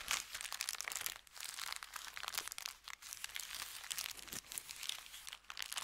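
An empty brown kraft paper bakery bag, folded into a small stack on a felt mat, is pressed and crinkled by fingertips. It makes dense, bright, crackling crinkles with almost no low end, running nearly continuously with brief quieter dips between bursts.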